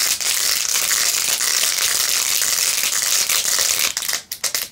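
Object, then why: Plastic phone case covered in plastic pearl beads. Long acrylic nails scratch quickly across the rows of pink plastic pearl beads glued onto a handheld, rose-gold-edged plastic phone case. The result is a dense, bright, crackling scratch that runs steadily for about four seconds, then breaks into a few separate quick strokes at the end.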